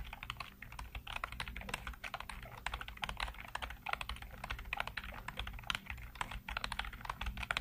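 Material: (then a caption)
Plastic. Fingertips type rapidly across a full-size black plastic computer keyboard with hollow keycaps. Dense, continuous tapping is heard as short, sharp, bright clacks that stop almost instantly, over a faint, steady low hum.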